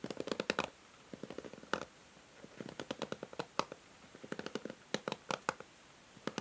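A pink and grey plastic paddle hair brush is held in hand while long nails scratch and strum its plastic bristles. Bursts of quick, dry ticking clicks come in clusters with short quiet gaps between them. Each click is bright and snappy and dies away almost at once.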